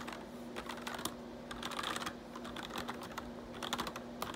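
Fingertips type and tap on the keys of a black plastic RGB backlit computer keyboard, giving quick, bright plastic clicks with short decays. The clicks come in uneven bursts over a faint, steady low hum.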